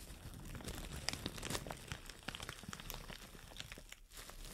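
Long nails crumple and scratch a white plastic shower cap with a green print. The result is a continuous, quiet crinkling with sharp, bright crackles and scratchy ticks spread across the clip, plus a brief near-silent gap just after four seconds.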